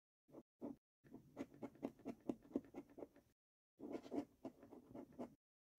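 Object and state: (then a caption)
Scratch card being scratched with a coin. A coin held in the fingers scrapes the latex coating off the game panels of a thin paper scratch card lying on a wooden table. Quiet, rapid, dry scratching strokes come in bursts separated by brief pauses. The rasping stays low-mid and papery, with no ring after each stroke.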